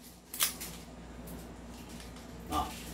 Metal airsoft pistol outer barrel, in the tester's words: Walang kalog. Patong natin yung daliri natin. Walang kalog.